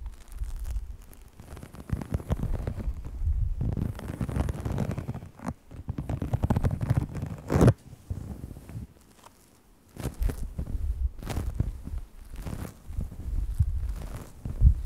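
Fingertips and nails of both hands rub and scratch a folded, iridescent faux snakeskin vinyl sheet with a holographic scale texture lying flat. The result is a close, muffled, low rumbling rustle, with occasional sharper, brighter scratches. A quieter lull falls near the middle before the scratching resumes.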